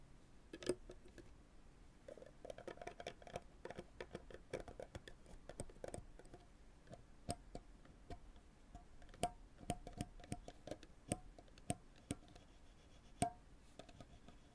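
Small metal forceps are dragged and plucked across the center of the synthetic strings on a full-size graphite tennis racket lying flat. The result is a dense run of quiet, scratchy clicks and brief plucked pings with a faint tone near 700 Hz. Each pluck dies away almost instantly.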